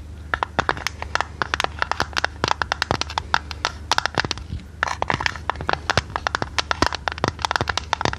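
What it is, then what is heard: Decorated tin canister tapped with fingernails. Long red nails tap quickly on a hollow, hand-sized square printed metal tin. A dense run of short, sharp, bright clicks with almost no ring sits over a faint steady low hum, with a brief lull just before the middle.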